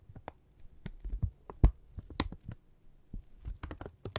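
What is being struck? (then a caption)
Thin kraft paper strip. Both hands hold a thin strip of brown kraft paper, pushing it together, pulling it apart, and crinkling and rubbing it with the fingertips. Short, dry crinkles and scrapes come in uneven bursts, mostly low and thumpy with a few bright crackles. The sound stops quickly after each movement.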